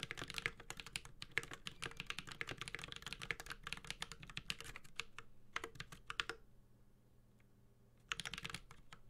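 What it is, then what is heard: Mechanical keyboard with metal case and plastic keycaps. A Space65 Cybervoyager 65% mechanical keyboard, with a white-gold aluminum case, carbon fiber plate, Holy Panda tactile switches and plastic keycaps, is typed on steadily with the fingertips of both hands. It gives a fast run of sharp, bright clacks with a low thock beneath. Around six and a half seconds the typing trails off into near silence, then picks up again briefly at the end.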